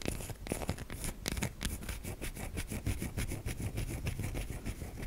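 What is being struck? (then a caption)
Bar of soap. Long nails scrape along the edge and side of a white solid bar of soap, flaking pieces off it. The result is a steady run of dense, crackly scratching strokes, mostly low and rumbly with bright, gritty flecks on top.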